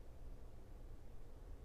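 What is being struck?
Nothing is struck.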